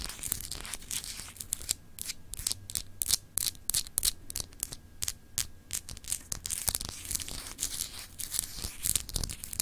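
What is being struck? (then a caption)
Solid glass globe paperweight. Long acrylic nails scratch over a palm-sized solid clear glass globe paperweight with etched continents, held in both hands. Quick, bright, raspy scratching strokes come in uneven bursts above a steady low hum.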